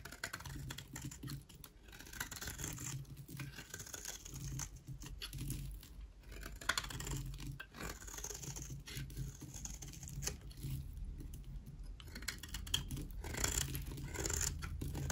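A metal box-cutter-style blade shaves and scrapes thin flakes off the edge of a solid, palm-sized rectangular bar of dry white soap held in one hand, with the shavings falling onto a table below. The clip is a steady run of short, dry scratching strokes with a crisp, bright rasp over a soft low rumble, each stroke stopping quickly with almost no ring.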